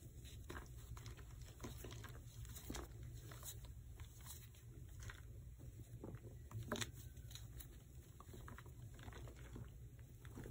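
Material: Chalk.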